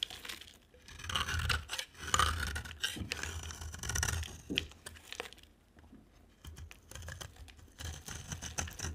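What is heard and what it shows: A solid purple oval bar of soap is scraped with a utility knife blade, giving a run of dry, crackly scraping and shaving sounds. Short rasping strokes carry bright high detail over a soft low rumble, and the strokes come in bursts separated by brief quieter pauses.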